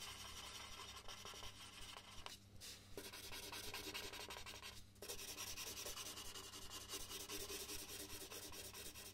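A red colored pencil shades a large white paper sheet resting on a wooden desk with quick, repeated strokes. It makes a dense, bright scratching and rubbing sound over a faint low hum. The strokes pause briefly twice before continuing steadily to the end.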